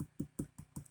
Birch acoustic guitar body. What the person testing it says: it's got a nice tap tone